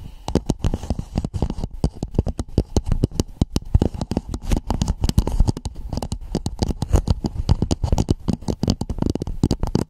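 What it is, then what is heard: Plastic cap. Long nails tap and scratch the sides and ridges of a hollow red plastic dome cap placed over a microphone. A dense, rapid patter of short, dry clicks and scrapes continues throughout, heavy in low thumping tones with very little brightness and no ringing after each tap.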